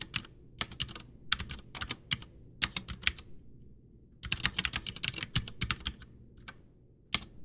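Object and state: Plastic mechanical keyboard.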